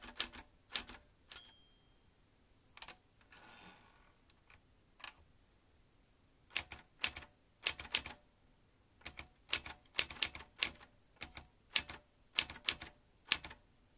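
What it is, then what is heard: Manual metal typewriter. A vintage metal manual typewriter with metal typebars and a ribbon spool is typed with fingertips. Sharp, bright key strikes come in irregular bursts, with a short high bell-like ring near the start and a soft sliding rasp around four seconds.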